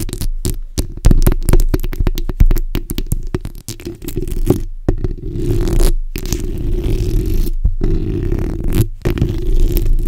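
The backs of long nails scratch across a black hollow steel mesh microphone grille, producing dense, rapid scraping strokes. The strokes come through as a heavy, boomy low rumble with a few brief silent gaps between bursts.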